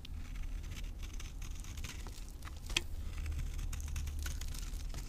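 A knife blade scrapes the surface and edges of a solid, dry green avocado soap bar held in the palm, and crumbly powder falls off. Quiet, scratchy crinkling and brief bright ticks sit over a steady low rumble.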